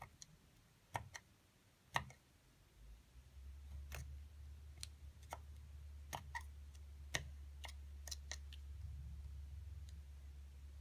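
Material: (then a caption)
Plaster. A thin metal seafood pick, held in long-nailed fingers, scratches and chips into a palm-sized, solid, rectangular white plaster (gypsum) dig block with a small mummy figure partly exposed in its middle, sending crumbs falling around it. Short, sharp, bright clicks and ticks come at irregular intervals over faint scraping. A steady low hum rises beneath them from about three seconds in.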